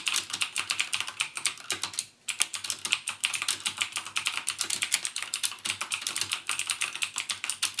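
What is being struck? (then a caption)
Plastic mechanical keyboard keys. Fingertips type rapidly on a backlit plastic mechanical gaming keyboard with plastic keycaps and Cherry MX Blue switches. The result is a steady stream of crisp, bright clicks with almost no ring. There is a brief pause just after the two-second mark.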